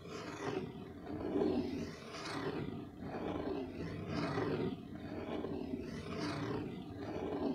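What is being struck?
Nothing is struck.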